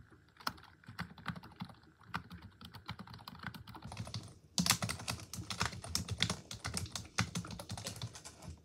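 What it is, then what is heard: Plastic computer keyboard being typed on. Long acrylic nails and fingertips rapidly tap the hollow keys of a full-size black plastic desktop keyboard, making quick, dry, bright clicks with a low thud beneath each stroke. The typing is soft at first, then grows louder and denser from about halfway through.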